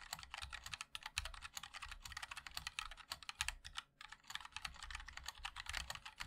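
Fingertips of both hands type continuously on a compact 60% MOD-L mechanical keyboard with a black case, white and black plastic keycaps and linear switches. A steady stream of sharp, bright, short clacks rides over a faint low thud, with a brief pause just before the four-second mark before the typing resumes.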